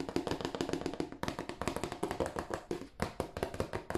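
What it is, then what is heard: Cardboard tissue box, hollow. Fingertips tap a hollow, glossy marble-printed cardboard tissue box held in both hands, first on its end and then on its broad face. The result is a quick, steady stream of soft, hollow papery taps with a dull mid-low body around 344 Hz and very short decay. After a brief pause near the middle, the taps become slightly louder and fuller.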